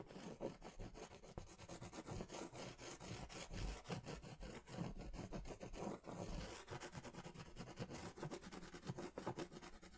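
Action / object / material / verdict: scrape / crayon on a paper sketch pad / paper / none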